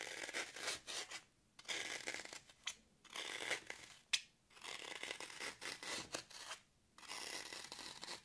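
Very long acrylic nails scratch and dig grooves into the top of a brick-sized block of solid, porous green floral foam held in one hand. The sound is a bright, crunchy scraping that comes in short, irregular bursts separated by brief silent pauses, with one sharp crackle near the middle and almost no low end.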